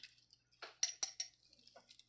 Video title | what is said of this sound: Jewelry Jar Unboxing Show found at 3rd Street Antiques | Sounds like glass.